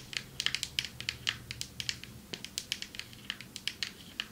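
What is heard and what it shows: Long metallic nails tap on a marble table top in a quick, irregular run of sharp, crisp clicks. Each tap is short and bright, with almost no ring and very little low end.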